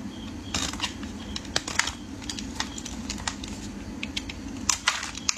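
A metal utility blade scrapes and shaves the end of a solid rectangular orange bar of soap held in the hands. Quick, bright, crisp scraping and crackling strokes come in bursts over a steady low hum.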